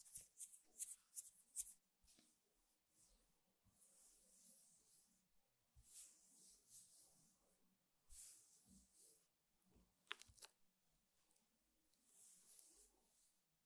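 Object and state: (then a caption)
Woven rattan table mat being rubbed and brushed. Open palms and fingertips rub and brush across a flat, square woven rattan table mat, making soft, bright, hissy scratching swells. A few sharp, distinct taps on the weave stand out, mostly near the start. The sound is quiet and close, with little low end.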